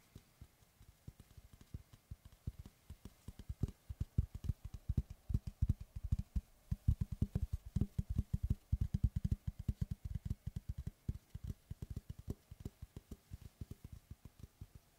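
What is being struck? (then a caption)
Round wooden tree slice board. Fingertips and knuckles tap and knock the flat face of a large, round, solid wood tree slice board with a bark rim, held upright. Around 58 quick, dry, low thuds come in an uneven, rapid patter. Each knock centers near 74 Hz and dies almost instantly.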